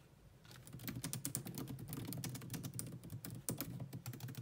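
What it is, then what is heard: Plastic laptop keyboard being typed on. Long nails tap quickly across the low-profile plastic keys of a grey laptop keyboard, sometimes with both hands. The result is a fast, steady stream of bright, crisp clicks over a soft low thud, starting quietly and then holding a dense typing rhythm.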